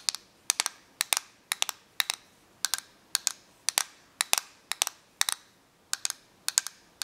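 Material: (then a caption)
Plastic. Long painted nails tap and scratch the case of a small, hollow, clear-and-black plastic correction tape dispenser with a green spool, held in both hands. The result is a steady run of sharp, bright, dry clicks, often in quick pairs or triplets, with almost no ring and no low end.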